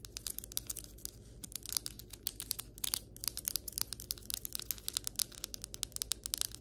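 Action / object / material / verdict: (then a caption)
tap / ceramic floor tile / ceramic / none. Long white acrylic nails tap and scratch quickly across the surface of solid ceramic floor tiles, heard up close. It makes a rapid, uneven run of sharp, bright clicks with scratchy texture and almost no ring, over a faint low hum.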